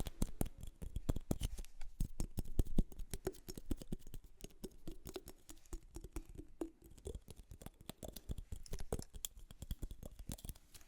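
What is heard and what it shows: A wooden object is tapped in a rapid, continuous flurry of short, dry, muffled knocks with almost no ring, the sound concentrated in the low range. The tapping is loudest in the first few seconds, then settles into a softer, steady patter that swells slightly again near the end.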